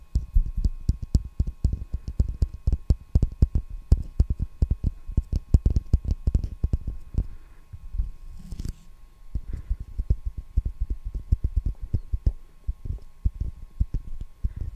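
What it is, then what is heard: Roll of packing tape tapped, dull thumps. A hollow roll of clear plastic packing tape with a cardboard core is held sideways against the top of a microphone and tapped rapidly with the fingertips. It gives a fast, uneven stream of dull, deep thumps that stop almost instantly, over a faint steady hum, with a brief lull just before the halfway point.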